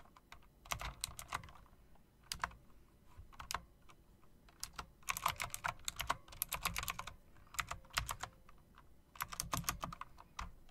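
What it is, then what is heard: Mechanical typewriter-style keyboard being typed on. A plastic and metal typewriter-style RGB mechanical keyboard with round chrome-rimmed keycaps is typed on quickly by fingertips with long dark nails. Bursts of sharp, bright key clicks with a low thock come in clusters separated by short pauses, each keystroke dying away almost instantly.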